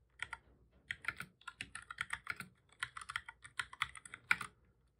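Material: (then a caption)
Plastic. Fingertips of both hands type on a black full-size plastic computer keyboard, producing about 23 quick key presses in uneven bursts. Each press is a short, crisp, bright plastic click with almost no low end and no ring.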